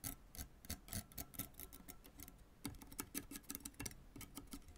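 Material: Synthetic string.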